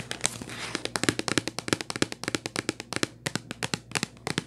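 Long white nails tap the top and edge of a hollow purple Kleenex cardboard tissue box. Quick, dry, bright clicks come in a rapid, uneven run with almost no ring, and a faint crinkly rustle sits under the first second. A steady low hum runs beneath throughout.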